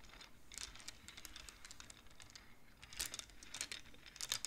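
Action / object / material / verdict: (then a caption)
tap / wooden abacus with beads on metal rods / wood / none. Both hands push colored wooden beads along the metal rods of a large wooden-framed abacus with fingertips and nails, making quiet, bright, dry clacks. The rapid, short clicks patter in irregular runs, with louder clusters of clacks near the middle and the end.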